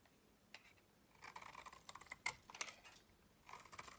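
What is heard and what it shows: A solid yellow bar of soap held in the hand is shaved and scraped with a utility knife blade. Quiet, crisp, bright scraping strokes and sharp little clicks come in irregular bursts, with a short pause between them and almost no low end.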